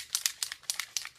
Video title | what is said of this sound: TARTE CLAY STICK FOUNDATION FIRST IMPRESSIONS!! | it's just so satisfying to shake it and hear the like a spray paint can